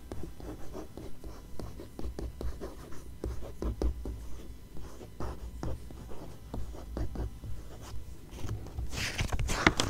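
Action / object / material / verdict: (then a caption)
scrape / glossy coated magazine page / coated paper / none. Long-nailed fingers scratch across the coated paper of an open glossy magazine spread, then a single fingertip and nail trace along the page. Quick, soft scratching strokes repeat at an uneven pace, turning into a brighter, sharper rasp near the end.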